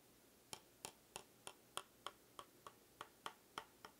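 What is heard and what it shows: Two sticks of bamboo are tapped together in a steady series of twelve short, dry, bright clicks, each one dying away almost instantly over quiet background hiss.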